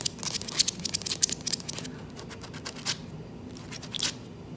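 Long, light-polished nails on both hands claw, scratch and tap the boards of a solid, dark-stained, glossy wooden plank floor. A rapid run of bright, high, dry scratching and tapping bursts fills the first two seconds, with almost no low end and no ring. It then thins to quieter rustling, with single louder scratches near the three- and four-second marks.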